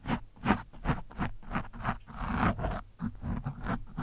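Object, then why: Foam microphone windscreen. A screwdriver tip is scratched and dragged at varying angles over an orange foam microphone windscreen. It makes a rhythmic series of short, muffled, low scraping strokes, with one longer rough drag in the middle. The sound is dull and bassy, with little high-end brightness.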